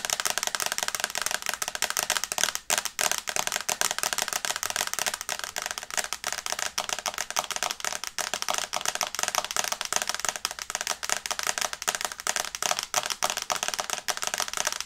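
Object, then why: Tablet glass screen in plastic case. Long nails tap fast on the glass screen of an iPad in a teal plastic case, held in the hands. It makes a dense, steady stream of sharp, bright clicks with almost no low end. Each tap dies away instantly for the whole clip.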